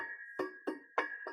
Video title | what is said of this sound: Excited best NEW Affordable HiFi Speaker Stands NeXXus | you can naturally hear that there is ring in there